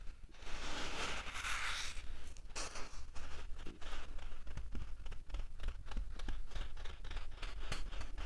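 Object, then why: Fine sand raked with fingernails. Fingertips and short nails scratch and rake through a flat bed of fine, light-colored, dry sand, leaving furrows in the loose grains. The result is a continuous run of dry, gritty scratching and rustling strokes with bright, hissy grain noise, over a steady low hum.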